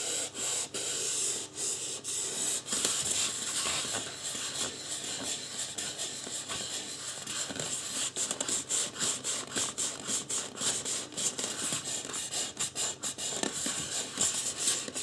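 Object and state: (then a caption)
Styrofoam mannequin head being rubbed. Fingertips rub the sides and top of a life-size white polystyrene foam mannequin head. The result is a steady, bright, hissy scratching broken by many quick dips as the strokes change, with almost no low end.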